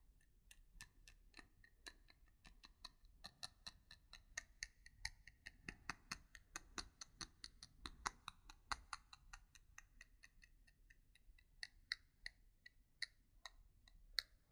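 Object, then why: Wooden pencil tapped with fingernails. Long nails tap and scratch the shaft of a single solid, yellow-painted wooden pencil with a metal ferrule and eraser, held close in both hands. The result is a quiet, steady series of sharp, dry clicks with a bright, high edge and a faint tone near 2 kHz, each dying away almost instantly over a soft scratching hiss.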